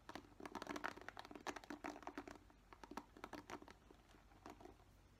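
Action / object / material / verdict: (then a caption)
tap / plastic paddle hairbrush / plastic / none. Fingernails tap and scratch across the plastic bristles of a black plastic paddle hairbrush. The result is a quiet, rapid string of short, dry crackling clicks and scrapes that die away almost instantly, loosely clustered and fading slightly toward the end.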